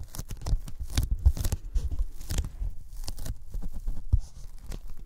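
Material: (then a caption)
Polyethylene foam. Sticky fingertips tap and pull at a thin white closed-cell polyethylene foam sheet held over the microphones. A rapid, irregular run of soft, dull thumps with sticky tearing crackles comes out, each touch clicking short and dry. The low-end bumps carry most of the weight, with brief bright crinkles along the way.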